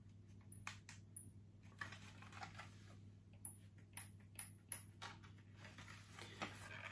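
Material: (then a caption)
Plastic. A dark grey hollow plastic Borg toy sphere, about the size of a grapefruit, is held in both hands and tapped with the fingertips. This gives quiet, short, dry plastic taps with bright, high ticks over a steady low hum. One hand moves away at the end with a soft brushing rustle.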